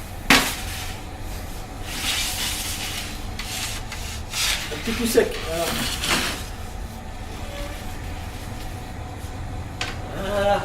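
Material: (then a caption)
Bread crust. A freshly baked loaf of crusty bread, just taken out of the bakery oven, is handled and its crust crackles and rustles with a few sharper crunches over a low background hum. The crackling crust shows a good bake that is not overcooked.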